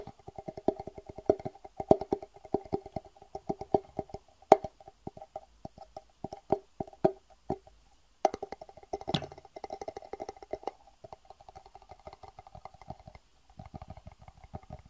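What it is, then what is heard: Empty plastic box. A small, hollow, empty clear plastic box is held upright and tapped with the fingertips in quick, uneven runs. Each tap is a short, dry click with a hollow mid-range tone that dies almost instantly. There is a brief pause near the middle before the tapping resumes, softening toward the end.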